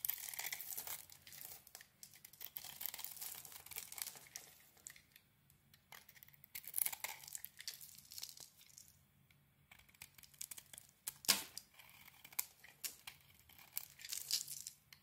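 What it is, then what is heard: Bar of soap being scraped. A utility knife blade scrapes the red heart-printed coating off a handheld solid rectangular bar of soap with a white crumbly interior. The sound is quiet, bright, crinkly scraping and tearing in irregular bursts, with a sharper, louder scrape near the end and almost no low end.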